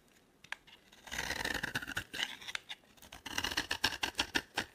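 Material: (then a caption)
Soap. A solid, dry oval orange Palmolive soap bar, held in hand, is scraped with a metal box-cutter blade, shaving off crumbly flakes. Soft, bright, crackly scraping sounds come in a steady stretch and then as a run of short, quick strokes.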